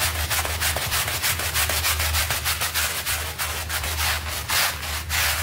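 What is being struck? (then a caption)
Soapy textile rug scrubbed with a stiff bristle brush. A stiff bristle hand brush scrubs a small, dirty pink textile rug covered in white soapy foam while the other hand holds its edge. Rapid back-and-forth strokes make a steady, bright, rough scratching hiss over a low, constant hum. The scrubbing keeps an even rhythm throughout.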